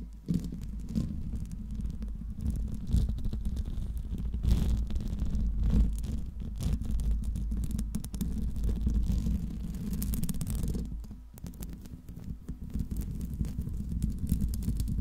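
Fingertips and long nails scratch the hollow steel mesh grille of a silver Blue Yeti microphone, producing a continuous low, rumbling scrape with dense rustling and tapping textures throughout. The sound is heavy in the low end, with brief dips and surges in intensity as the scratching continues.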